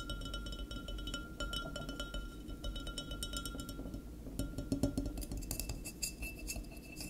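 Fingertips and nails tap and scratch the body and neck of a standing, full and sealed dark glass wine bottle with a paper label. Quick, dry taps and clinks ring briefly over a low, soft rumble, mixed with light scratching and brighter clicks that grow denser toward the end.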